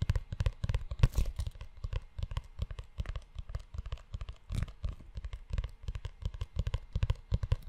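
Fingertips and short nails tap and scratch the brown leather cover of a book-sized, solid leather-bound notebook with a ridged spine, held in both hands close to the mic. A dense run of quick, soft, low thuds mixes with dry scratching and rubbing, each tap dying away almost at once.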